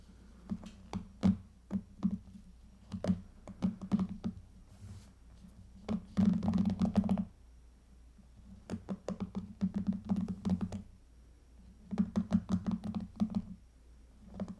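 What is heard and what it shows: Long fingernails scratch and strum the round cushion of pink plastic bristles on a small hairbrush lying on a table. The sound comes as quick, irregular bursts of dry, crackly flicks, with a low body centred near 190 Hz. Denser scraping runs appear around the middle and near the end, separated by quieter pauses.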